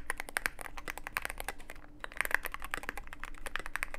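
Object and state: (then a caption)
Mechanical keyboard with plastic keycaps. Fingertips of both hands type continuously on a mechanical keyboard with plastic keycaps and a dark case. Dense, rapid clicks and clacks with a bright edge run throughout, with a brief lull just before the two-second mark before the typing picks up again.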